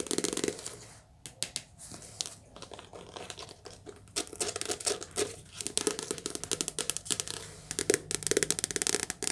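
Fast, continuous tapping on a soft cover paper book in a cottage produces quick, dry, crisp taps with a papery, crinkling texture. The taps come in rapid clusters separated by brief quieter stretches, with almost no ring after each tap.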